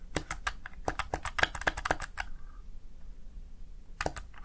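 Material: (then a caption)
Plastic. Fingertips rapidly press the keys of a Razer Tartarus Chroma plastic gaming keypad, producing a quick run of sharp, short plastic clicks with bright tops. A brief pause follows, and then a couple more clicks come near the end.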